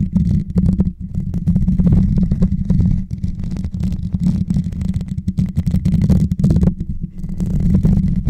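Fingertips and short nails scratch and tap the hollow, rounded metal mesh grille on top of a white Blue Yeti microphone. The result is a steady, dense stream of muffled, bassy rubbing and quick tapping, almost entirely low in pitch with a humming tone near 176 Hz. The scratching swells and dips briefly without stopping.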